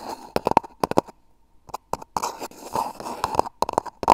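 Fingertips and short nails scratch and rub the outside of a hollow, empty brown cardboard toilet-paper roll held upright around a mini microphone, its cable running out the top. Quick, dry scratching bursts ring with a boxy, hollow midrange resonance, pausing briefly near the middle before a denser stretch of rubbing and scratching.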